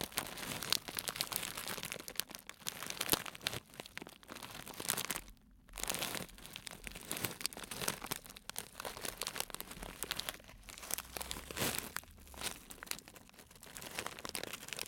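A small clear plastic cellophane bag, twisted shut at the top and full of dried fruit and nut pieces, is squeezed and crinkled by fingertips and a black-gloved hand. Dense, bright crinkling and crunching crackles run almost continuously, with a brief quiet gap around the middle before the rustling resumes.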